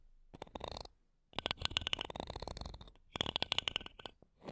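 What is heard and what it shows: Wooden toothpicks held between long nails scratch the metal mesh tops of two small, solid silver condenser microphones. The sound is a quiet, bright, rapid crackle of scraping ticks with a tonal edge near 2.9 kHz. It comes in three bursts separated by short silences: a brief one, a longer one, and another before trailing off.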